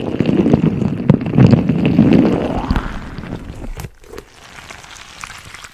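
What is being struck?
Clear rubber squeeze ball filled with small plastic beads.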